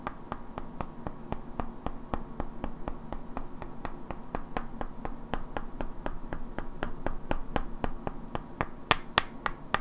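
Two identical hand-sized solid wooden cubes with black painted characters are held in both hands and knocked and clicked against each other, while long natural nails also tap their edges. About 39 short, dry, sharp clicks come at a quick but uneven pace over a faint steady hum. The last few clicks near the end are louder and brighter.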